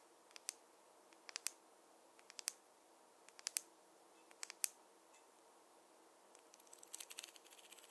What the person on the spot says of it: the contrast between the soft hair sounds with the wooden tapping sounds